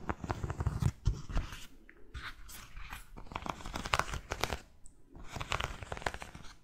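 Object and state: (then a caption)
Cork-soled sandal with straps. Fingernails scratch along the edge of a cork-soled sandal's footbed and over its white buckled straps. The result is a run of dry, crackly, crunchy scrapes and rustles with a soft low body, broken by a couple of brief quieter pauses.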